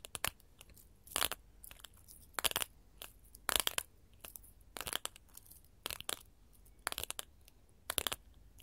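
A sheet of small colored glass mosaic tiles, solid, is tapped by the tips of gold metal filigree finger claws. Bright, crisp clicking taps come in quick clustered bursts, each dying out almost instantly with no ring, between quiet pauses.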